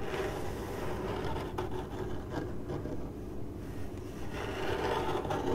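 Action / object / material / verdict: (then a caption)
scrape / corrugated cardboard box / cardboard / none. Long acrylic nails on one hand scratch across a hollow, printed corrugated cardboard box. The result is a continuous, dry rasping scrape with a papery rustle, carried by a dull, hollow low body and a faint resonant tone around 410 Hz. The scratching stays at a fairly even level throughout with little high brightness.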